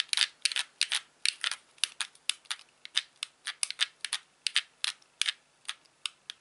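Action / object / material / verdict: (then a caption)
tap / plastic game controller / plastic / none. Fingertips press and click the buttons and thumbsticks of a hand-sized white hollow plastic Wii Classic controller. About 26 sharp, bright plastic clicks come in an uneven rhythm, each dying out almost instantly with almost no low end.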